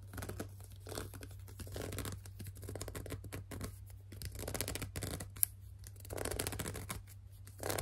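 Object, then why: Plastic lotion bottle. Long dark nails grip, rub and scratch along the side of a hollow, white and mauve plastic No7 cleansing lotion bottle of about 200 ml. Quiet, irregular bursts of dry scratching and squeaky rubbing rise and fall over a steady low hum, with one sharp tick partway through.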